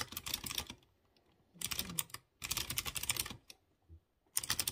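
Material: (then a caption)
Plastic. Fingertips type on a light blue plastic mechanical keyboard with round chrome keycaps and clear-housed blue switches. Quick bursts of bright, sharp key taps come in four runs separated by short silences, each tap dying away almost at once.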